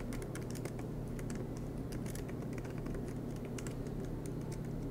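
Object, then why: Laptop keyboard with plastic keys. Fingertips of both hands tap rapidly on the black plastic low-profile keys of a MacBook Pro aluminum laptop, making a steady stream of soft, bright clicks. A constant low hum sits underneath the typing throughout.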